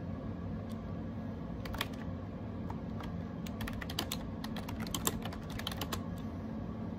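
Fingertips rapidly tap the round plastic keycaps of a gray AJAZZ 308i wireless Bluetooth keyboard with a hollow plastic case. The irregular keystrokes come out as short, bright, hollow plastic clicks that die away almost instantly. They ride over a steady low rumble that fills the background.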